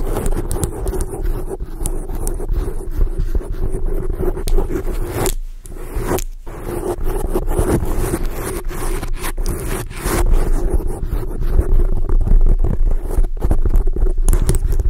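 A black foam microphone windscreen is scratched by the long acrylic nails of both hands. The result is a continuous, dense scraping and rustling, heavy in low rumble, with a steady midrange tone and rapid, irregular scratch strokes. Brief quieter gaps occur near 5.5 and 6.3 seconds.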